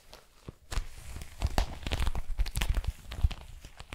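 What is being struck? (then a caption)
Small metallized plastic foil pouch. A small, empty metallic plastic foil pouch is crinkled and squeezed with long nails and fingers. Irregular crackling crinkles and crunchy rustles come in dense bursts, with quick taps and sharp snaps over a low, thumping base.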